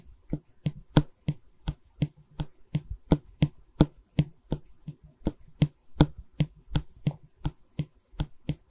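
Long red nails tap and scratch a solid pine bar of a wooden canvas stretcher frame held in both hands. About 22 short, dry knocks with a low woody thud sound in an uneven rhythm, with faint scratching between them. Each knock dies away almost at once.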